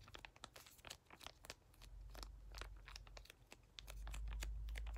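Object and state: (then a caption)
Foil sample sachet. A small, flat lilac plastic-foil skincare sample sachet that appears filled is held in both hands and tapped and scratched with fingertips and short nails. It gives rapid, uneven crinkling clicks and scratchy taps. A steady low hum underneath grows louder toward the end.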